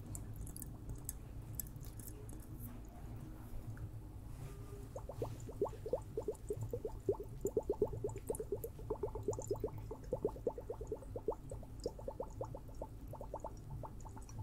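A liquid-filled water hourglass is tapped. After about five seconds of quiet, low hum, a rapid, steady run of short, dry taps starts and continues to the end, each one ringing briefly with a mid-pitched tone around 420 Hz over a soft low-end background.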